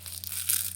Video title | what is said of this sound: My Element Collection So Far | Kind of sounds like maracas whenever you shake it around.